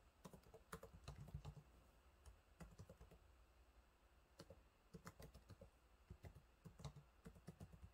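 Fingertips type on the low-profile plastic keys of a silver laptop keyboard, making quiet, rapid, soft taps. Each keystroke is a short, dull thud with a faint click and almost no ring. The taps come in irregular bursts, with a lighter stretch in the middle of the clip.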